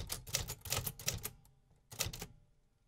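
A vintage 1950s metal typewriter with paper loaded is typed on by fingertips tapping the keys. Crisp, bright mechanical clacks come in a quick run, then a pause, then a short final burst. Each strike has a low thump beneath a sharp metallic snap.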